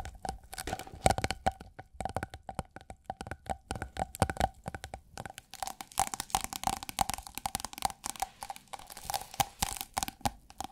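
Long acrylic nails tap and scratch a thin, iridescent holographic plastic sheet rolled into a hollow tube about 25 cm long and held in the hand. Rapid, uneven clicks and crinkles come with a faint hollow ring near 750 Hz and brief bright scratchy edges. Each tap dies away almost at once.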